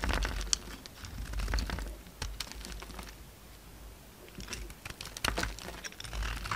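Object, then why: Bar of soap cut with a blade. A utility knife blade cuts and scrapes a solid orange bar of soap, chipping off dry, crumbly pieces. Quick, bright clicks and crackles come in dense bursts, with a low rumble underneath. The bursts fade to a quieter scraping in the middle, then pick up again toward the end.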